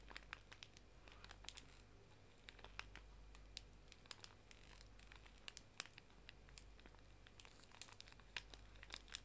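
A full, small pink pocket tissue pack wrapped in plastic film is held horizontally while fingertips and nails squeeze and crinkle the wrapper. The result is a quiet stream of dense, bright crackles with sharp, quickly fading snaps scattered throughout. A steady low hum sits underneath.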